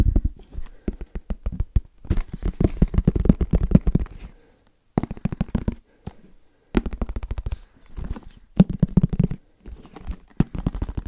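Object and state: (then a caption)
Headphone case being tapped. Fast fingertip tapping on a headphone case, coming in rapid bursts separated by brief pauses. Each tap is short, dull and low-pitched, with a hollow thud around 180 Hz and almost no ring.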